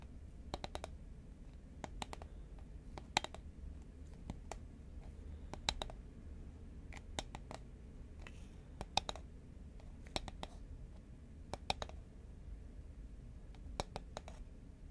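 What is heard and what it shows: Long nails tap rapidly on a hollow green Pringles paperboard chip tube held horizontally. The result is bursts of quick, sharp, bright clicks with almost no ring, over a steady low background rumble.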